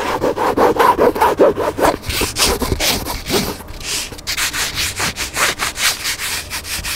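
Fingertips and nails scratch rapidly back and forth along the black cloth-covered spine of a hardcover book lying on a table. The result is a steady run of quick, dry rasping strokes: the first two seconds have a fuller midrange tone, and the rest turns into brighter, hissier scratches.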